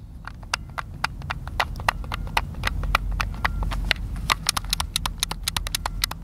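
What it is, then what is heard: Plastic game controller buttons clicking. Fingertips repeatedly click the face buttons and sticks of a white, hand-sized, hollow plastic Xbox controller held in the hands over a picnic table. The result is a rapid, irregular run of sharp, bright plastic clicks that die away almost instantly, over a steady low rumble.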